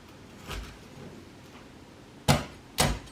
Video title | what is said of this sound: ASIAN DAD COOKS Crispy Pork Belly At Home QUICK AND SIMPLE | I tried the skin, see how crispy it is